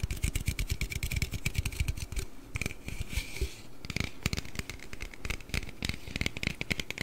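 A large, hollow aluminium Red Bull can is held upright beside the mic and tapped and scratched with the fingernails. Rapid, dense finger taps give deep, short thumps with a bright, tinny edge, easing into a softer stretch of scratching midway before the quick tapping picks up again.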